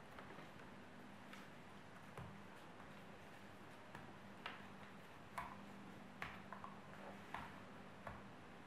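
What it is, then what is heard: Apple skin scratched by long nails. Very long, sharp, curved purple natural nails scratch and dig into the skin of a whole, solid, fist-sized red-yellow apple held in both hands, leaving marks. Soft, steady scratching runs under about ten sharp, bright clicks that come at irregular intervals and ring briefly, over a faint low hum.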